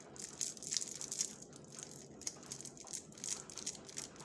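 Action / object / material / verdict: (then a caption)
scrape / foil candy wrapper / foil / none. Gloved fingertips twist and crinkle the ends of a shiny blue and gold foil-like wrapper around a small, solid Dabli candy. The result is a quiet, steady stream of bright, crackly rustling with short sharp crinkles scattered throughout and almost no low end.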